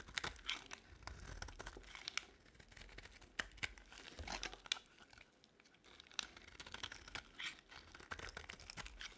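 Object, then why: Bar of soap cut with a blade. A utility-knife blade carves brittle white curls off a solid white rectangular bar of dry soap held in the hand. The cutting makes quiet, bright, crisp scraping and crackling, a dense stream of short dry snaps and rasps with brief pauses between strokes.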